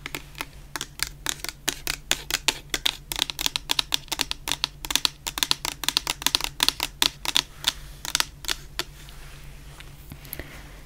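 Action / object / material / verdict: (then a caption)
tap / plastic shower gel bottle tapped with fingernails / plastic / none. A medium clear plastic bottle full of orange shower gel is tapped with long painted nails. About 45 quick, crisp, bright clicks come in an uneven, rapid run, each dying away almost instantly. A faint steady low hum sits underneath throughout.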